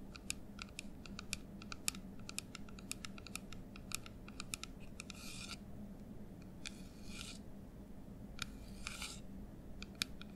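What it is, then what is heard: Plastic nail polish remover bottle. A medium white, translucent plastic nail polish remover bottle with a black cap, hollow and partly filled with liquid, is held in both hands, rotated, and tapped and scratched with painted fingernails. Quick, dry, bright clicks come in rapid runs, broken by a few longer hissing scratch passes, over a steady low hum. The taps are sharp and quiet, with no ring after each one.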